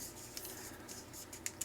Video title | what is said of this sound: How Bad Is It RGB Blub | it sounds like plastic to me I'm pretty sure it is